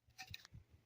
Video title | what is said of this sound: Polehawk II - Build Update | This is not green anymore. And this thing thunks.